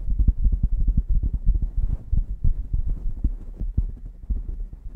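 Long painted nails scratch and tap quickly on a grey and black striped knit beanie pulled over a microphone. The result is a fast, uneven run of deep, muffled thumps with a low hum underneath and almost nothing bright on top.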